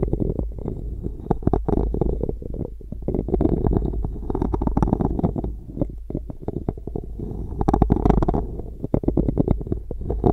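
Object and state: Wooden spoon scraped on a metal microphone grille.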